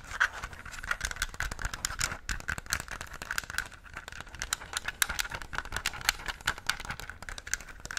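A yellow, Pikachu-shaped, handheld hollow plastic gamepad is held in both hands while fingertips press and click its buttons and handle the plastic shell. Quick, dry clicks and tapping come in irregular bursts over a faint constant tone near 1.6 kHz, with soft scratchy rubbing of the shell between presses. Each click is short and bright, with no ring.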